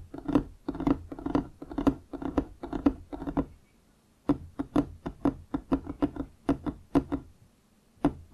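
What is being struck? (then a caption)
Wooden object. Fingers tap and knock on a wooden object in quick, uneven bursts of short, dry, hollow knocks with a woody tone around 280 Hz and almost no ring. After a brief pause midway, the tapping resumes in sharper, more separated knocks, then stops again before one last knock at the end.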